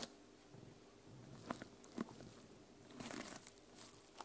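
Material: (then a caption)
Plastic. Long nails scratch and flip the plastic sequins on the cover of a small sequin-covered journal held upright. Soft, scratchy rustling is broken by several sharp, bright clicks and crinkles as the sequins snap over, all quiet and dry with no ring.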